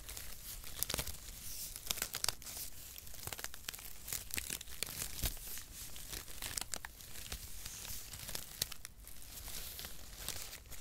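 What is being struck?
Thin cardboard packaging strips.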